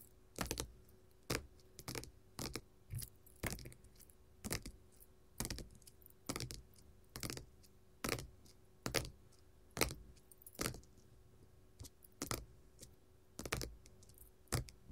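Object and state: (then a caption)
Faux leather sheet tapped with metal nail caps. Long gold metal finger-jewelry nail caps tap on a flat, solid red glitter faux leather sheet lying on a table. Sharp, bright clicking taps come in loose, uneven clusters, each with a soft low thud and a very quick decay. A faint steady hum sits underneath.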